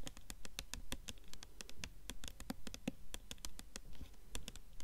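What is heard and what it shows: Long nails tap rapidly on the paper dust jacket of a blue hardcover book held upright. The result is a quick, uneven patter of short, dry clicks, each with a bright tick on top and a soft low thud beneath, dying away almost at once.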